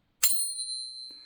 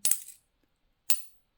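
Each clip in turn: First: genuine silver coin, long ring. Second: fake silver coin, dull.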